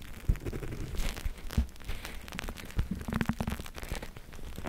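A flexible clear plastic eye mask filled with purple gel beads is held in both hands and squeezed and rubbed with long-nailed fingertips. It makes a dense, low, squishy crackling and rustling, with soft thumps and faint bright clicks.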